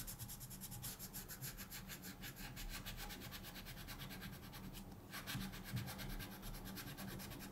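A wooden colored pencil is scratched in quick strokes across a thin paper mandala page in a coloring book lying flat on a table, while the other hand rests still. The result is a steady, rhythmic, dry scratching with bright, crisp pulses on each stroke over a soft low rumble.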